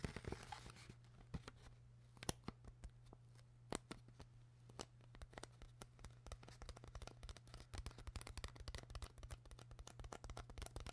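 Long nails tap and scratch the ribbed sides of an empty, hollow clear PET plastic water bottle with a white cap. Quick, bright clicks and crinkly scrapes come in rapid, irregular bursts that grow denser toward the end. A steady low hum runs underneath throughout.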